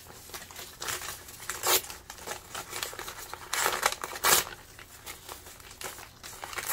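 Fingertips crumple, rustle and tear thin printed paper map or atlas pages, loose sheets lying over a pile of torn scraps, by hand. A steady bright crinkling runs throughout, broken by sharper, louder rips and crackles that stand out at a few moments. There is almost no low end; the sound is dry and papery, with each burst dying away quickly.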